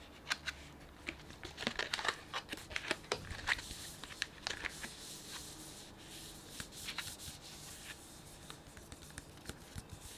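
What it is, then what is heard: Plastic bag of sunflower seeds. Fingers crinkle and rub the edge of a printed plastic bag filled with sunflower seeds. Sharp, bright crackles and rustles come in quick bursts, busiest in the first five seconds and then settling into softer, sparser crinkling over a low background hiss.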